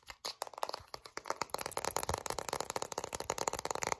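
A full plastic Vaseline petroleum jelly jar with a blue plastic lid is tilted in the hands while long nails scratch fast along the label and the lid rim. The result is a rapid stream of dry, crackly scrapes and ticks with a bright top and almost no low end. The scratches are sparser at first and grow denser and steadier after about a second and a half.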